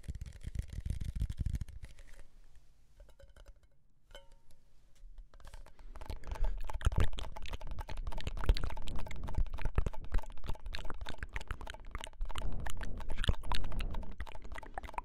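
A tall red Pringles can, a hollow cardboard and foil composite tube with a metal bottom, is held upright close to the mic and tapped rapidly with fingertips and nails. The result is a dense, uneven patter of dull, low hollow thumps with light clicky edges. It quiets briefly early on, then grows louder and busier for the rest of the clip.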